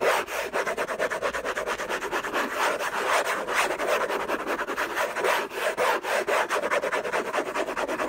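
Fingertips and short nails scratch fast and hard across the lid of a closed, long rectangular orange Hermès cardboard box covered in textured paper, lying on a fluffy blanket. The result is a continuous, rapid series of dry, raspy scraping strokes centered in the midrange around 645 Hz, with some bright upper texture and almost no low end.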